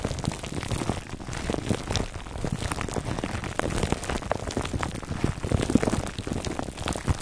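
Fingertips scratch a foam microphone cover wrapped in clear, crinkly plastic film. The result is a steady, dense crackle of small crinkly clicks with a heavy low rumble throughout. A few sharper pops stand out along the way.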